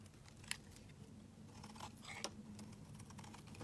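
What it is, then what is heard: Bar soap being shaved with a blade. A utility knife blade shaves the edge of a solid pink bar of soap held in the hand, with the shavings piling up below. Quiet, crisp scraping and cutting clicks come in a loose, uneven series, with two sharper bright snaps standing out, over a steady low hum.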